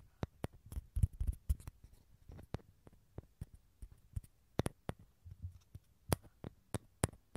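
Fingernails tap and scratch the outer surface of a small, hollow, dried gourd with a tan shell, held in both hands over a TASCAM recorder. About fifteen sharp, dry clicks ring out over a soft, low hollow rumble and faint scratching, each click dying away almost instantly.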